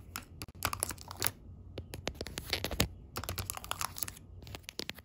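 Long pink acrylic nails tap the clear window lids of small round gold metal tins filled with loose tea, set in a yellow cardboard tray in a tea sampler box. The result is a quick, irregular run of sharp, bright clicks, each dying away almost at once, over a faint low hum.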